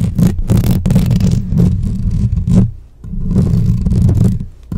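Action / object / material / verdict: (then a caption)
scrape / metal mesh microphone grille / metal mesh / none. Long nails and fingertips rapidly scratch and tap on the rounded metal mesh grille of a black microphone with a hollow head. The result is a dense, booming low scraping rumble centered around 190 Hz, streaked with brief bright, crackly bursts. The sound dips quiet briefly near the three-second mark and again at the end before resuming.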